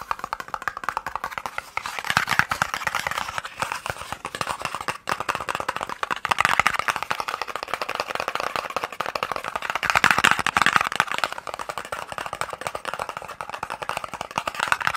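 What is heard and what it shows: A small, hollow, white and red cardboard eye drops box is held in the hand and tapped rapidly with the fingertips and nails. The result is a dense, continuous stream of dry, papery clicks centered in the midrange, with almost no low end and no ring. The tapping swells louder in bursts around 2, 6.5 and 10 seconds.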